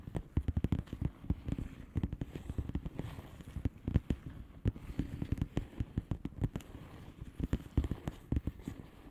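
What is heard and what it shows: Long painted nails on both hands tap fast on a flat blue plastic bubble wrap envelope with air-filled bubbles. The result is a dense, uneven patter of short, dull, low taps that stop almost instantly, with slight crackle and little bright content.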